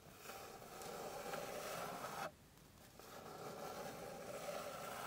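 Long pink nails scratch and tap across the surface of a flat, light, solid wooden board. A steady, bright rasping scrape runs through the clip, stops briefly a little past two seconds, then resumes just as evenly until the end.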